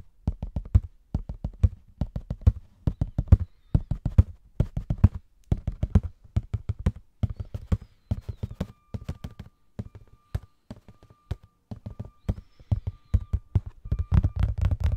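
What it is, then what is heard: Cardboard tissue box. A hollow cardboard Scotties tissue box, held close to the mic, is tapped with fingertips and nails in quick, uneven bursts. The taps land as dull, low, woody thumps with a soft papery click on top and almost no ring, separated by brief pauses.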